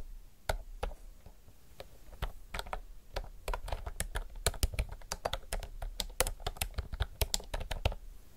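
Both hands type fast with their fingertips on a retro, typewriter-style mechanical keyboard with round plastic keycaps. Sharp, bright clicks start sparse and quickly become a dense, uneven patter of keystrokes over a steady low background hum.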